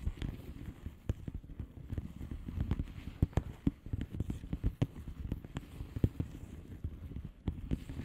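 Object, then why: Padded envelope with plastic bubble wrap surface. Long polished nails on both hands tap and scratch the bubbles on the plastic bubble wrap surface of a flat padded envelope. The result is a steady run of quick, dull, low-pitched taps that stop almost instantly, with soft scratching between them and almost no high end.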